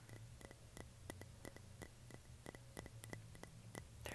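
Fingertips and short nails tap and scratch the sides of a small, clear glass jam jar with a white label, which is hollow and apparently empty. Quiet, crisp taps with bright clicky edges come in a quick, uneven stream over a steady low hum. Each tap dies away almost at once, with only a faint glassy ring.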